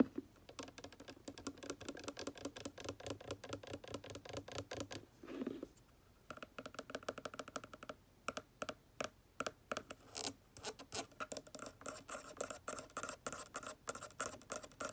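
Long nails and fingertips tap and scratch the white cap and body of an upright plastic bottle of aquarium water conditioner. Rapid, crisp clicks alternate with a brief scratchy swell and a short quiet pause. Sharper, more spaced taps follow.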